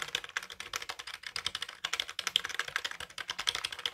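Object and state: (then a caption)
Plastic computer keyboard. A black full-size Dell wired keyboard with plastic keys and a hollow plastic case is held up in both hands while its keys are tapped and pressed with the fingertips. Rapid, dense typing clicks come through with crisp, bright, short clacks and almost no low end. The tapping stays steady for the whole clip.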